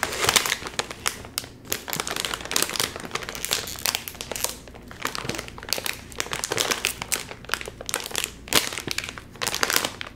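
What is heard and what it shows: A full, sealed Doritos chip bag of crinkly metallized plastic film, about 30 cm tall, is held in both hands while the fingertips pull and crinkle the top seam trying to open it. Dense, bright crinkling and crackling rustles in rapid bursts throughout, with little low end and brief pauses between flurries. The bag stays sealed.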